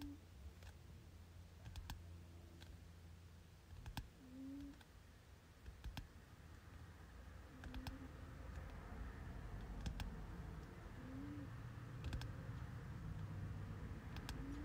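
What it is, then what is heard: Paperback textbook. Fingertips tap on the glossy cover of a solid-paper softcover textbook near its top edge as it rests on a bed. Soft, short, dry clicks repeat at an uneven pace over a quiet, low, rumbling background.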